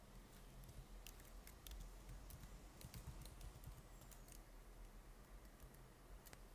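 Fingertips type continuously on the plastic keys of a silver laptop keyboard, producing dense, quiet taps with bright, sharp clicks over a low background rumble.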